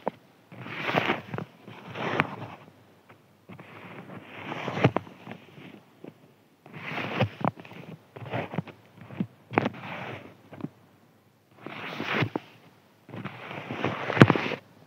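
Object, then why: Thin crinkly paper sheet. Fingertips scratch across a thin, white, crinkly paper sheet lying flat, making a dry, rustling scratch with some low body to it. The scratching comes in repeated short bursts separated by brief silences, each ending in sharp crackly ticks.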